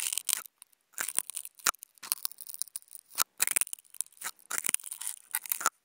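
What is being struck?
Non-woven fabric sheet scratched with wooden toothpicks.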